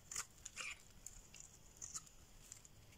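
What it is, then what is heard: Dry bar soap being shaved. A solid green rectangular bar of dry soap, held in the hand, is shaved with a metal blade so long curls peel off. Quiet, bright, crisp scraping and crackling come in short, irregular bursts with almost no ring.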